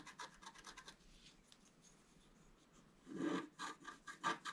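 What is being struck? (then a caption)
Scratch-art paper card with a wooden stylus. A wooden stylus scratches the coating off a thin, flat black-coated scratch-art paper sheet held by hand. A quick run of short, bright scratching strokes gives way to a quieter stretch of faint scraping, then a burst of louder, rasping strokes ends the clip.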